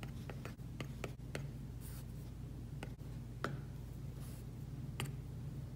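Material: Plastic film.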